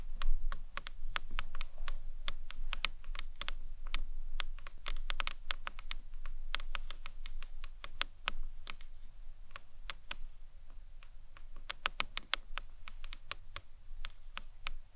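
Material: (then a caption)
Acrylic. Long nails from both hands tap the sides of a small hollow green marbled acrylic box clutch purse. The result is a steady stream of quick, sharp, bright clicks that stop almost instantly, set over a constant low rumble.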